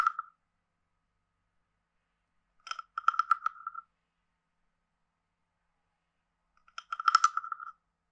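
A wooden stick taps and scrapes the ridged back of a hand-sized, carved, hollow wooden frog guiro. Three short bursts of rapid, clicky, croaking rasps ring at a steady pitch around 1.3 kHz with bright ticks on top, separated by stretches of silence. Each tick dies away almost instantly.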